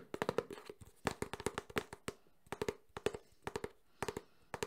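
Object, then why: Small closed cardboard box. A small, closed, hollow cardboard Samsung phone box is tapped fast with fingertips and nails on its front and side. About 24 dry, hollow taps land in quick clusters with short pauses between them. Each tap has a boxy tone around 460 Hz, a crisp bright click from the nails, and almost no ring.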